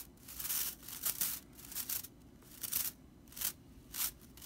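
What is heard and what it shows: Long nails scratch and flick the tips of a dry straw whisk broom's bristles. The result is quiet, bright, crackly rustles that come in irregular bursts, each fading almost at once.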